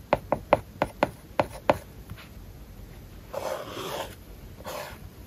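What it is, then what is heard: Tablet screen with matte paper-like film, stylus writing. A hard plastic stylus tip taps eight times in quick succession on an iPad lying flat with a matte paper-like plastic film over its glass screen, while writing English words and Japanese characters. Each tap is a short, dry tick. Two longer, soft, breathy scratching strokes follow as the tip is drawn across the film.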